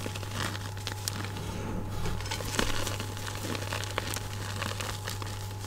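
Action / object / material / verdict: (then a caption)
scrape / loose magnesium carbonate chalk powder / chalk powder / none. Oiled, glittery hands press into a pile of loose white gym chalk powder (magnesium carbonate) in a bowl, scooping up handfuls and squeezing them. Dense, crunchy crinkling and crackling squeezes ring out with bright grainy detail over a steady low hum.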